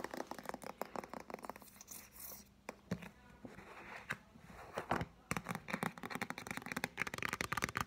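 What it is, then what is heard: Paperback book. Fingertips and nails tap the front cover of a solid green paperback novel with a card cover, held upright. Quick, dry, clicky taps come in dense bursts, separated by a few quieter stretches.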